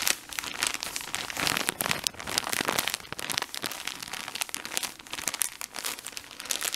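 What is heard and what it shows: A full, cylindrical blue plastic-film package of cotton pads is held in both hands while fingertips squeeze and rub the film. The result is a dense, continuous run of bright, high crinkles and crackles with almost no low end.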